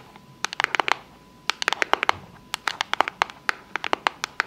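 Long fake nails tap and scratch the surfaces of a small, rigid, hollow pink cardboard box with a unicorn print as it is turned in the hands. The result is quick, sharp, dry clicks in three clustered bursts, bright with no low end and no ring, over a faint steady tone in the quiet gaps.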